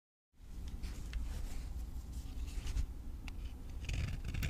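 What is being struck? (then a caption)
Bar of soap. A palm-sized, solid rectangular bar of dry green vintage avocado soap, held in one hand, is shaved and scraped across its surface with a utility knife blade, producing powdery, crumbly shavings. After a brief silence, a steady, dry scraping begins over a heavy low rumble, with bright, crisp scratches flickering throughout and growing denser toward the end.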